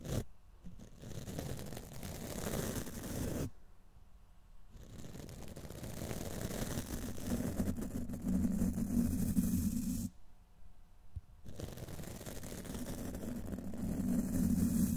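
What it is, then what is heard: Metal microphone mesh grille scratched with a brush. The top of a hollow steel wire-mesh microphone grille is scratched by hand with the stiff black plastic bristles of a brush pushed down over it. A dense, rough scratching rasp with a strong low, rumbling body and a steady tone near 240 Hz is heard, falling silent in two short pauses before it resumes louder.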